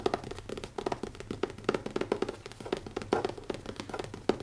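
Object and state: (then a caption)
Leather-covered notebook. Fingertips tap rapidly on the closed, solid cover of a black leather notebook with an elastic band. They produce a quick, irregular run of short, dull thuds centered around 375 Hz. Each tap dies away almost instantly, with little low rumble and little high brightness.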